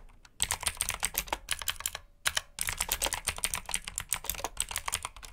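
Fingertips type continuously on a black backlit mechanical keyboard with plastic keycaps, producing rapid, bright, dry clicks and clacks. Two short pauses break the typing, near 2 seconds and again just after.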